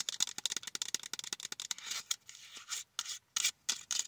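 Long nails scratch and tap a small flat blister pack of four lip balms, a cardboard card with a plastic window. A rapid run of crisp, bright taps and scratchy strokes comes first, then softer rustling scrapes and a few isolated sharp clicks.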